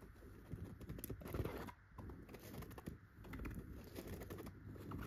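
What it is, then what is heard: Chenille fabric pillow. Clear pointed nail extensions scratch and tap the fabric surface of a yellow chenille dotted pillow. The result is a quiet, continuous run of soft scratchy rustling with light taps scattered through it. Most of the energy sits low, with a few brief brighter ticks.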